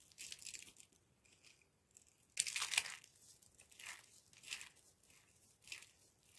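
Handfuls of small, solid, loose and dry green bar soap shavings are squeezed and crumbled between fingertips and palms with dark-painted nails over a pile of the same shavings. Bright, dry crinkling crunches come in uneven bursts, with the loudest, densest crushing near the middle. Each crunch stops dead with no ring.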